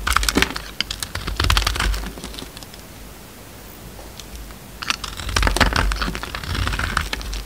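A utility knife blade shaves thick curls from a hand-sized solid bar of orange soap with a red outer layer, held in the hand. Dry, crisp scraping and crackling cuts come in quick, uneven bursts, fall into a near-silent pause in the middle, then pick up again.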